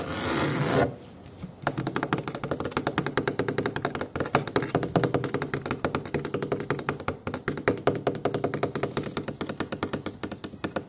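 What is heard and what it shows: Fingertips and short nails tap rapidly on the firm, apparently hollow or foam-backed, black pebble-textured rounded plastic armrest of a booster car seat. A brief broadband hiss opens the clip, then after a short pause come dozens of quick, dry, closely spaced taps with almost no ring, continuing steadily to the end.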